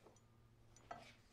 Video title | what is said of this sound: How to use Rockwell Hardness Files for knife making | then the same file on a heat treated cleaver just skates off the material and does not leave a mark.